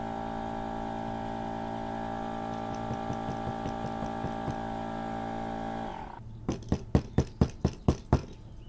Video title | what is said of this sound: OutDoor Master 20Psi Air Pump "The Shark" Review | you can hear the firmness of it when i hit it i mean it's pumped it is it is full